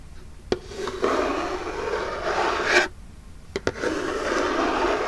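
Long jeweled nails scratch the lid of a small, hollow, printed Birchbox cardboard box tilted toward the camera. They make a steady, papery rasping with four sharp clicks of nail on cardboard. The scratching swells before a brief pause and then continues.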